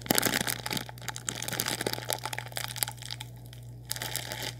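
A sealed orange Nissin Lámen plastic packet full of dry noodles is crinkled and squeezed with fingers, giving a run of bright, crunchy plastic crackles and rustles. The crackles come in uneven bursts, louder at the start and quieter toward the end, over a steady low hum.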